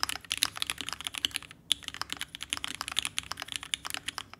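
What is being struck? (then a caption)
Mechanical keyboard with aluminum case and plastic keycaps. A red TGR Alice ergonomic mechanical keyboard with vintage black switches, an aluminum case and plate, and pink and white plastic keycaps, resting on a desk mat, is typed on continuously with the fingertips of both hands. Rapid, crisp, bright clacks follow one another in a dense stream, each dying away almost instantly, with a brief pause near the middle and almost no low-end thump.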